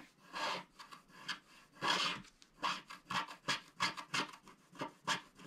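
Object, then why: Coated cardboard scratch art card. Fingertips rub across a flat, solid scratch art card of coated cardboard, now mostly scratched free, wiping off the leftover black coating flakes. The result is a series of short, dry, papery rubbing strokes with a bright, hissy texture and almost no low end.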